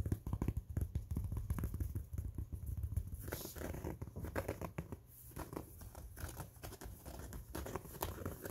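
Fingertips scratch and rub the fabric crown and seams of an empty, soft, hollow maroon cloth baseball cap held close. The result is a dense run of quick scratchy, crinkly rubs over a heavy low rumble, with a brief quieter stretch near the middle before the scratching picks up again.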